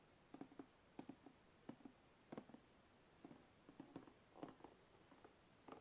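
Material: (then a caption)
Cardboard. Fingertips tap the lid edge of a hollow, closed white cardboard box, then the box is tilted and the fingers tap and scratch along the lid seam. The sound is a quiet series of short, dry, hollow taps centered low around 290 Hz, with soft scratchy friction between them and almost no ring.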